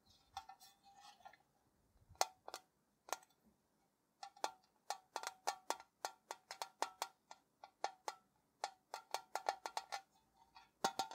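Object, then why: Sheet-metal tea tin. A tall, hollow, printed metal Ceylon tea tin is held on its side and tapped with fingertips and nails in an irregular rhythm of about thirty quick taps. Each tap gives a short, hollow metallic tock pitched around 760 Hz with a bright click on top, dying away almost at once, with quiet gaps between clusters.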